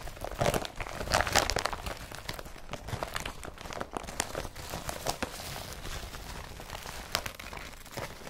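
Fingers grip, rub and crinkle the blue and yellow woven polypropylene straps of an IKEA BRATTBY carrier bag. The result is a steady stream of dry, bright crinkling with sharp crackles, loudest in the first second and a half and again around seven seconds.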